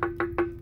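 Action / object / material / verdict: tap / steel well pressure bladder tank / steel / waterlogged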